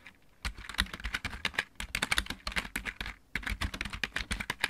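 Fingertips of both hands type quickly on a full-size backlit mechanical keyboard with plastic keycaps. After a brief quiet start, dense runs of bright, clicky clacks with a light low thump play out, broken by a short pause near the three-second mark. Faint music may be playing in the background.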